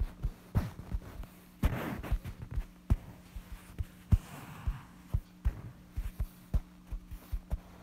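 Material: Cloth.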